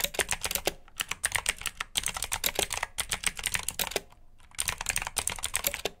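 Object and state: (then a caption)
Plastic mechanical keyboard with clicky blue switches. Fingertips type quickly on the keycaps of a black plastic RGB mechanical keyboard with blue switches, producing rapid, bright, sharp clicks with almost no ring. The typing comes in bursts, with brief pauses near 1, 2 and 3 seconds and a longer gap around 4 seconds.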